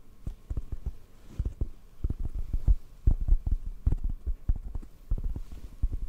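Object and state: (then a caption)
Foam microphone windscreen tapped. Fingertips tap rapidly on a black foam microphone windscreen held in the hands. The result is a quick, uneven run of soft, muffled thumps, almost all low and bassy with a dull low throb and no brightness. Each thump dies away almost instantly.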